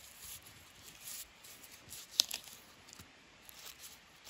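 Fingertips and nails scratch and peel loose bark strips from a long, solid, smooth wooden walking stick. Soft, bright crinkling and scraping run throughout, broken by a sharp crack with a smaller one just after it midway through. The sound is thin and high with almost no low end.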